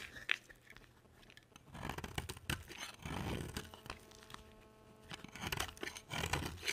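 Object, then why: Bar of soap scraped with a blade. A box cutter blade carves and scrapes a solid, palm-sized orange striped bar of dry soap. The cuts make close, crisp scraping, crunching and tearing sounds in bright, rough bursts, with quieter pauses between strokes.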